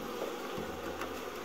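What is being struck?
Nothing is struck.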